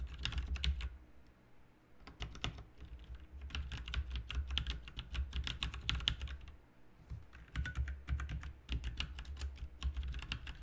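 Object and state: Plastic mechanical keyboard.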